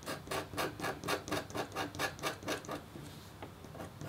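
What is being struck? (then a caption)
Copper-foil scratch art board scraped with a metal stylus. The metal tip of a red stylus scratches a thin, solid, flat black-coated copper-foil scratch board in quick, rhythmic strokes, each a bright, raspy rub that fades fast. After about three seconds the strokes become faint and sparse as a hand with pink nails comes to rest on the paper.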